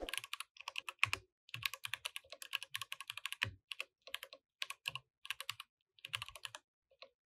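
Both hands type steadily with their fingertips on a compact mechanical keyboard with plastic keycaps. The bright, dry clicks stop almost instantly, with an occasional deeper thud and a few brief pauses between bursts of keystrokes.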